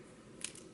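Two Hermès Clic H enamel bangle bracelets with silver-tone metal hardware, worn side by side, are clacked together once. A single light, bright click stands out with a very short ring over a quiet background.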